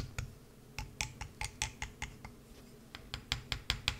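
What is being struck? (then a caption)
Bar of soap. A solid green bar of soap resting on a mat is gouged with a wood-handled carving tool, giving 15 short, crisp scratching cuts. They come in an uneven rhythm with a brief pause in the middle. Each cut is a dry, bright scrape over a faint low hum, dying away almost instantly.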